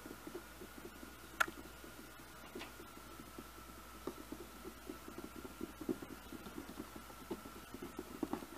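Fingertips and nails tap the top of a glossy cardboard slicer box, making a soft, irregular patter of light, dull taps with a few sharper clicks. A faint steady tone hums underneath throughout.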